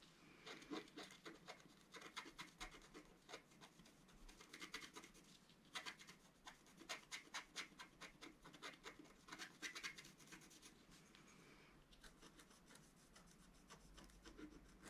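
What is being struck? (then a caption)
Black-coated scratch art paper card scraped with a wooden stylus. A wooden stylus scratches the coating of a flat, black-coated scratch art card, about A4 size, lying on a table. Quick bursts of dry, bright scratching strokes come in clusters separated by brief, quieter pauses, with a faint rasp carrying between them.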